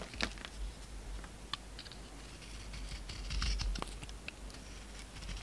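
A utility knife carves the gold coating off a solid oval soap bar held in hand; the bar has an embossed, gold-coated surface and a pink interior. Quiet, dry scraping runs throughout, broken by sharp, bright clicks and crisp flicks as the blade cuts, over a steady low hum.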